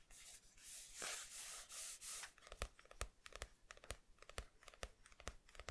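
Fingertips rub and scratch a matte paper page bearing a pencil sketch inside a paperback manga. Broad, bright, hissing rubbing swells fill the first two seconds. Then comes a quicker run of sharp, dry scratches and crisp ticks against a quiet background.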